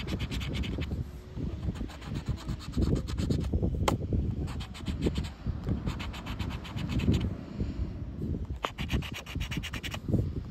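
A round black plastic scraper repeatedly scratches the latex coating off a thin, flat paper "Recompensa" lottery scratchcard, held by a hand with red nails as it lies on black rubber flip-flops on beach sand. Dense, rough scraping strokes come in quick bursts with brief pauses between them, over a steady low rumble from the outdoor beach setting.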